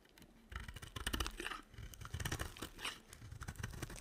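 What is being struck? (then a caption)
Bar of soap carved with a small blade. A small metal blade carves brittle shavings from a hand-sized solid bar of dry white and pink soap with a silver rim, held in a hand with long dark nails. After a quiet start, a dense run of dry, crunchy scraping and crackling begins about half a second in, with low thudding body and bright, gritty flakes on top.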